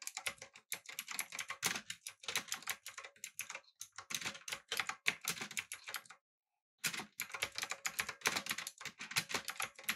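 Fingertips type on a backlit, typewriter-style mechanical keyboard with round plastic keycaps. The bright, sharp clacks come in quick, steady bursts, each dying away almost instantly. A brief silence falls just after six seconds before typing resumes.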